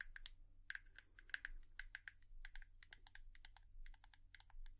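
Long nails tap on a hairbrush in an ASMR tapping session, giving a quick, irregular run of short, dry clicks with a bright, high edge. A faint, steady low hum sits underneath throughout.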